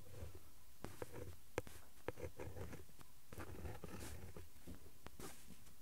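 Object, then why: Ballpoint pen on printed cardboard card. A ballpoint pen tip, held in the fingers, traces and scratches across the flat printed cardboard backing card of an Elmer's glue stick pack lying on a cloth. The result is quiet, dry, writing-like scratching, with a few sharper ticks standing out from a soft, low rustle.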